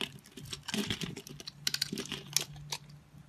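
A solid pastel multicolored soap bar, held in the hand with a pre-scored grid, is cut into small cubes with a utility knife blade. Quick, dry scraping and crisp cutting clicks patter in an irregular stream, bright and crackly with little low end. Each snap dies away almost at once.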